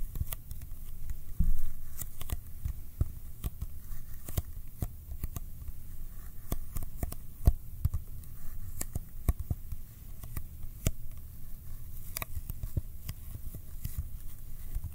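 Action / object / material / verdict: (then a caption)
tap / small cardboard box / cardboard / none. A small, hollow Kodak ColorPlus cardboard film box is held in front of a microphone and tapped with fingertips on its faces. The result is a steady run of quick, dry, hollow taps that die away almost instantly, over a constant low hum.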